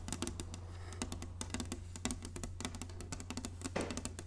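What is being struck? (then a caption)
Inlaid wooden chessboard. Long nails tap quickly across the squares of a large, flat, inlaid wooden chessboard. The result is a rapid run of sharp, bright clicking taps with short woody knocks beneath them, over a steady low hum.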